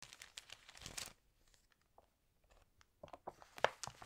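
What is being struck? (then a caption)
Glossy paper magazine. Long nails and fingertips flip and smooth the glossy pages of an Allerhande food magazine lying on a table, crinkling the paper. A dense burst of bright, crisp rustling gives way to a near-silent stretch with a few faint ticks. Then a new run of sharp crinkles follows, peaking near the end.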